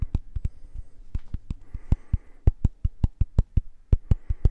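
A small round purple silicone facial cleansing brush pad, held close to the mic, is tapped and scratched with fingertips and nails. About twenty short, dull, low thuds come in a loose, irregular rhythm, each dying away almost instantly, with faint soft scratching between them.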